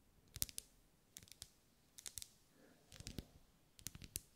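Long light-grey nails tap the sides of a lit, solid, medium-size pink ribbed wax pillar candle held in one hand. Five quick bursts of short, dry, bright clicks come with almost no ring, separated by brief quiet gaps.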